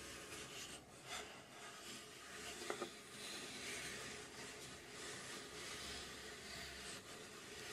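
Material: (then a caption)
Plywood. Long pink nails scratch and rub a laser-cut plywood mechanical puzzle safe, a hollow box with a front dial and gear panel, held gripped at its sides. The result is a steady, quiet, bright rasping scrape across the wood, with a brief sharper tick partway through.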